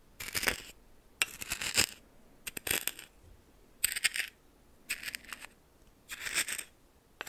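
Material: Salt.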